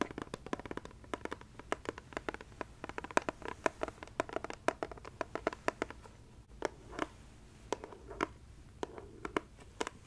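Long red nails tap a heart-shaped, clear plastic Ferrero Rocher box about 15 cm across, held in the hands and full of gold-wrapped chocolates. The clicky, hollow taps come in a rapid, irregular patter for about six seconds, then thin out into sparser, separated taps, each dying away almost at once.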